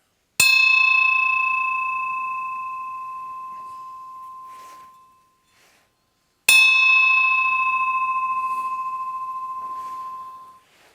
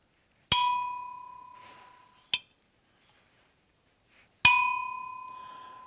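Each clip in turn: First: Two bright strikes, each ringing clear for about four seconds: a well-alloyed bronze bell that sings properly. Second: Two strikes ring a steady tone near 1 kHz with a 2.5 kHz partial; the bronze bell sounds dull, not bright.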